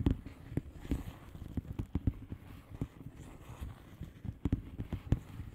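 Long polished nails slowly tap the bubbles of a flat, hollow plastic bubble-wrap mailer lying on a surface. There are fourteen soft, dull, low-pitched taps, each dying away almost at once, with quiet gaps between them.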